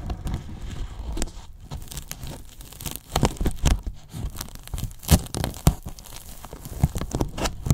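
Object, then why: Polyethylene foam box. Fingertips and short nails scratch and pick at the top edge of a large, hollow white polyethylene foam box. The result is a dense run of dry, squeaky crackles and sharp clicks over a low, hollow thumping body, with a few louder snaps standing out.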